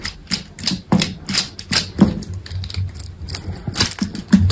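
A utility knife scores and scrapes pieces off a solid white bar of soap held in the hand. It makes a quick, irregular run of crisp, dry scrapes and crunchy cuts, each a bright rasp over a soft low thump that dies away almost at once.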